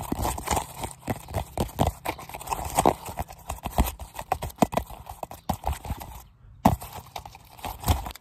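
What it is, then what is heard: Synthetic leather football being tapped. Fingertips and nails tap rapidly and irregularly on a worn, small Adidas football made of synthetic leather panels, hollow and inflated, held in both hands. Dense, short, dry taps mix dull hollow thumps with brighter clicks. A brief pause comes just after six seconds before the tapping resumes.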